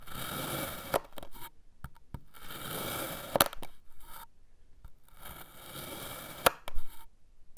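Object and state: Kinetic sand being sliced.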